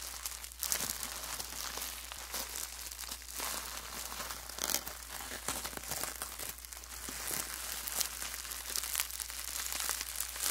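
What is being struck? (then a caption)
Plastic bubble wrap sheet. A large, thin sheet of clear plastic bubble wrap is scrunched and crumpled with both hands and fingertips. It makes a steady, bright crinkling and crackling with dense, sharp snaps and a few louder bursts. There is almost no low end throughout.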